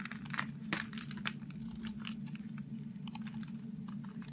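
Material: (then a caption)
Soap. A knife blade cuts and scrapes a crumbly, dry, green-coated orange soap bar, sending crumbs falling. Quiet, dry crunching and crinkling scrapes come in quick bright bursts over a steady low hum near 210 Hz.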